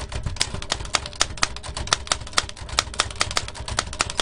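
Fingertips tap rapidly on the round keys of a large black metal L.C. Smith & Corona antique typewriter with a hollow mechanical body and paper loaded. Sharp, bright mechanical clacks come in quick succession over a low rumble, each strike ringing briefly.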